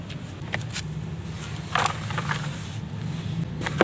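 Bare fingers with painted nails crumble and rub pieces off a large solid block of dry red mud sitting in loose red dust in a white plastic tub. Soft, dry crackling and brief bright crunchy bursts stand out over a steady low rumble.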